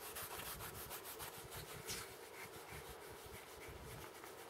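A small, apparently full plastic jar of orange acrylic paint with a printed label and a white plastic screw cap is held in both hands and rubbed and handled with the fingertips, mainly around the cap. Steady, quiet, bright scratchy rubbing strokes repeat throughout over a faint low rumble, with no distinct hits.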